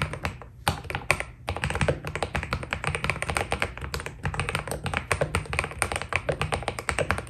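Both hands type continuously with their fingertips on a white Keydous NJ80 mechanical keyboard fitted with PBT plastic keycaps. It makes a rapid, steady stream of short, crisp key clacks, each with a dull low thock beneath a bright click that dies away almost instantly.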